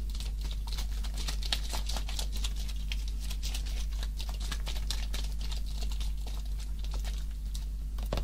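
A full-looking orange juice carton of coated paperboard, about 1 litre, is held in the hand and tapped rapidly with fingertips and nails. Quick, dry, crisp clicks and patters run continuously over a steady low hum.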